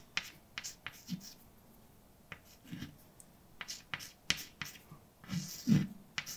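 A white chalk stick writes words across a large, flat, dark painted blackboard with a solid surface. Sharp tapping clicks and short scratching strokes come in a quick, uneven series, each with bright attacks over low, dull thuds against the board. The strokes die away almost instantly between quiet gaps.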